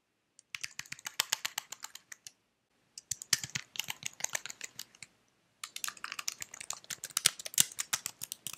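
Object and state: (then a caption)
Plastic computer keyboard. Fingertips with red nails press and tap the keys of a white slim plastic computer keyboard that is held up. About fifty short, bright plastic clicks come in three quick bursts separated by brief pauses, with no ring after each tap.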